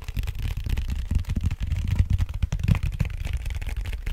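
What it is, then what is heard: Cardboard mailer box. Fingertips and nails tap and scratch across the flat face of a large, flat, brown cardboard vinyl mailer with red FRAGILE print, held upright and hollow in both hands. The result is a steady run of soft, dull, low thumps that die away almost instantly, with a faint papery scratching over them.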